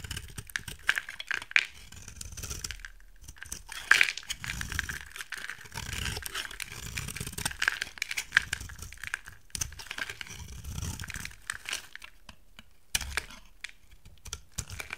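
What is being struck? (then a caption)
Soap bar cut with a knife blade. A hand-sized, solid rectangular white soap bar with a gold coating is held in one hand and carved with a utility knife blade, shaving off dry flakes. Crisp, bright scraping and crackling cuts come in repeated bursts separated by short pauses, with low rustling underneath.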